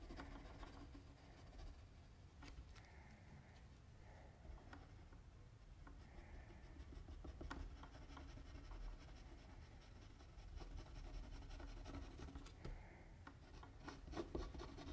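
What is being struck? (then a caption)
Drawing paper with a mechanical pencil. A mechanical pencil rubs and scratches shading strokes across a flat sheet of white drawing paper. The result is a quiet, continuous rasping with a dull, low-heavy tone and occasional brief, sharper scratch ticks.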